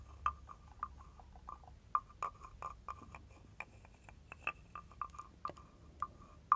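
A hand-held carved wooden frog guiro with a ridged back has a wooden stick scraped along its ridges. The result is a series of short, dry, clicky croaks centered near 1.2 kHz with faint bright edges. The bursts come in an irregular sequence over a quiet background.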